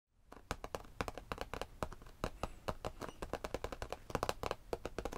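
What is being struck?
Padded faux leather bench top.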